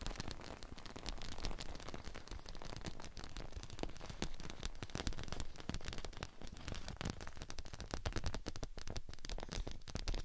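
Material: PVC plastic.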